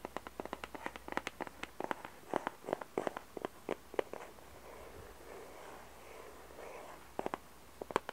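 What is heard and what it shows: Long red nails tap a small, hollow, glossy printed 150-piece Alice cardboard jigsaw puzzle box in quick, irregular runs of sharp, dry clicks. The taps break for a softer, steady scratching across the surface, then a few final taps return.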